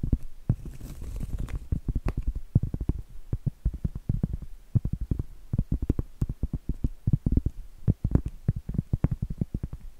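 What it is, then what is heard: Cork trivet tapped with nails. Medium acrylic nails tap and scratch on a round, flat, solid cork trivet held close. The result is a fast, uneven stream of dull, muffled, low thuds that die away almost instantly. A soft scratchy rasp is mixed in during the first couple of seconds.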